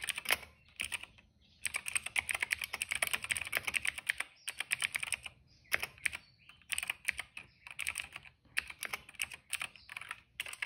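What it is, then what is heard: Plastic mechanical keyboard. Fingertips of both hands type rapidly on a retro-style cream plastic mechanical keyboard with a hollow case and black and purple keycaps, resting on a rug. Bursts of fast, bright, clacky keystrokes come with brief pauses between them. Each click is short and dry, with almost no low end.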